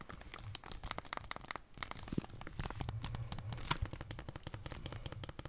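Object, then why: Plastic handheld game console with detachable controllers. Long dark-painted nails tap the plastic edge of a Nintendo Switch console with its Joy-Cons attached and press its buttons. The result is a rapid, dense run of dry, crisp clicks and ticks with a soft low body and bright edges. Each tick dies away almost instantly, without ringing.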